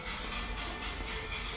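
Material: Nothing is struck.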